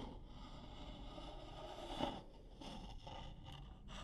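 Long nails scratch and tap the outer wall of a stack of medium-sized, hollow, empty striped wooden bowls nested together. A soft, steady scratching runs throughout, with a brief louder woody tap near the middle that dies away quickly.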